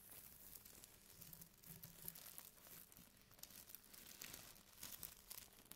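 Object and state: Crinkly plastic bag.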